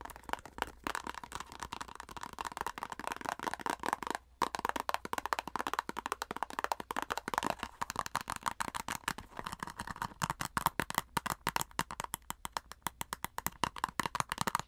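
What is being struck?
Flat plastic cosmetic squeeze tube.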